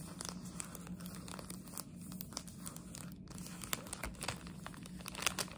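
A plastic chocolate frog wrapper is squeezed, crinkled and scratched with long nails. It makes a dense stream of sharp, bright crinkles and scratchy taps over a faint low steady hum. The level stays quiet and even throughout, with occasional louder crackles.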